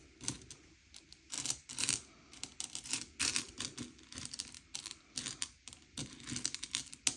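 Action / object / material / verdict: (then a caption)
scrape / small sugar-shelled chocolate candies on a plate / hard sugar shell / none. Fingertips slide and push a pile of small, hard, sugar-shelled M&M's candy-coated chocolates around a grey plate, sorting them by colour. Quick bursts of light, bright clicking and clattering come as the candies knock against each other and the plate, each tick dying away almost instantly, with brief quiet gaps between pushes.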